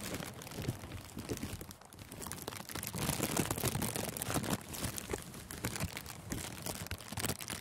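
Thin clear plastic cellophane gift wrap stretched over a furry microphone windscreen is crumpled with the thumb and fingers. It makes a dense, continuous crinkling and crackling across a broad range from low rustle to bright snaps, growing louder and busier after about three seconds.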